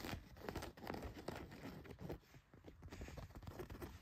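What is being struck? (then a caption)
Denim jeans fabric. Fingernails scratch the back pocket and leg of a pair of blue denim jeans. It makes a quiet, continuous rough scratching and rustling that swells and fades in short strokes, with most of its weight low and little brightness.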